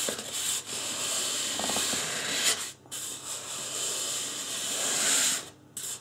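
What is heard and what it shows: Fingertips rub and scratch the scalp area of a life-size white polystyrene foam mannequin head. The result is a steady, bright, hissy scraping broken by two brief pauses.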